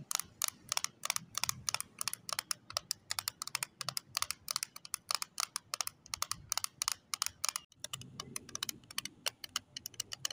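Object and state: Plastic lip tint case tapped with nails.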